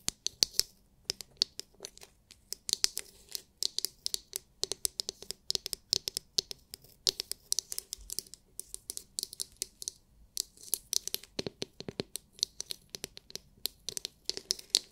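Long nails scratch and tap a palm-sized oval massage brush with a hard clear plastic glitter-filled dome and plastic bristles. Dozens of sharp, bright plastic clicks and scratchy crackles come in quick irregular bursts, with almost no low end and no ringing after each hit.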